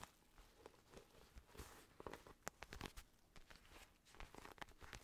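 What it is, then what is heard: Synthetic leather boxing glove. Fingertips tap and scratch the curved, padded back of a black Everlast padded synthetic leather boxing glove held in both hands. The sound is quiet and close: soft, papery scratching broken by short, sharp taps that stop dead, with a bright crinkly edge over a low muffled thump.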